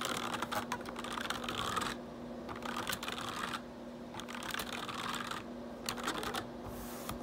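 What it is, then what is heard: Plastic computer keyboard. Fingertips type fast on a black plastic RGB backlit computer keyboard, producing dense bursts of bright plastic key clicks. The clicking comes in flurries separated by quieter stretches of lighter tapping, over a faint steady low hum.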